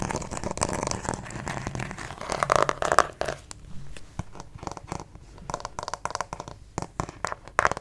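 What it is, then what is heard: Plastic acupuncture model figure. Fingernails scratch across the back of a white plastic acupuncture model doll, likely hollow, making dense crinkly scraping with brief squeaky tones near 1.2 kHz around the third second. The scratching then thins into quieter, scattered clicks and scrapes, ending in a short louder burst.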